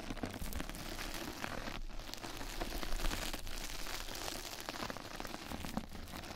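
Two mascara brushes scratch and brush across a flat yellow knitted-mesh bath scrub sponge pad laid over the microphone, and the pad is turned to show its other side. The result is a dense, continuous crinkly scratching with a heavy low rumble underneath and bright crackles on top. There is a brief lull near the two-second mark before the scratching resumes.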